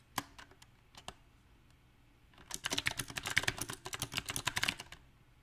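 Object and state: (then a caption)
Mechanical keyboard with plastic keycaps. Fingertips type on a compact backlit mechanical keyboard with round plastic typewriter-style keycaps. A few scattered key taps come first, then a quiet pause, followed by a dense, uneven run of quick, bright, clacky clicks with almost no ring.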